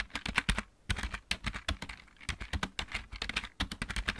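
Both hands type with their fingertips on a full-size backlit plastic mechanical keyboard. A quick, uneven run of short, dry key clicks follows, each with a low thud and a bright clack that dies away almost at once. There is a brief pause early on before the typing resumes.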